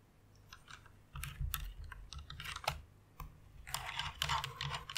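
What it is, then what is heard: Plastic mechanical keyboard. Both hands type rapidly with fingertips and long nails on a full-size white mechanical keyboard with plastic keycaps and RGB lighting, resting on a pink fur pad. Bright, clacky keystrokes come in quick, uneven bursts over a low, muffled thump, with a denser flurry near the end.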